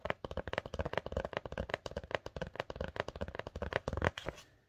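Long dark-painted nails rapidly tap and scratch the flat surface of a kraft paper "please do not bend" mailing envelope with a grey board insert, postage labels and washi tape, held up in both hands. The result is a dense run of short, dry, hollow papery clicks with a mid-range tone and almost no ring, trailing off into quiet at the end.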